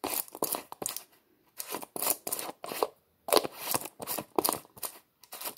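Fingertips twist the white plastic screw lid of a small, hollow red plastic tub back and forth. They make a series of short, dry clicking scrapes with a bright, papery edge and almost no low end, separated by brief pauses.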